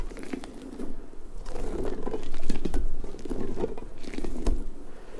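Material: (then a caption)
Rubber. Long nails scratch and rub across the soft spikes of a large, hollow pink rubber puffer ball held close to the mic. The result is a dense, uneven stream of soft, crinkly scraping and light pattering, heavy in the low end with a warm midrange body. It swells toward the middle of the clip, then eases and rises again.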